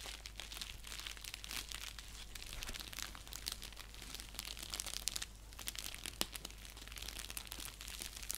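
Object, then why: Padded paper mailer envelope. Fingertips and nails scratch and crinkle an orange padded paper mailer envelope with a clear plastic section as it lies flat on a lap and is lifted. The result is a quiet, steady stream of bright, dry crinkles and short crackling scratches over a faint low hum.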